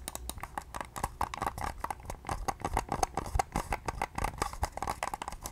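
A small, pale pink, hollow plastic wireless mouse is held in both hands and tapped and clicked with long nails. The result is a rapid, uneven run of short, dry plastic taps and clicks with a hollow tone around 770 Hz. Each hit stops almost instantly.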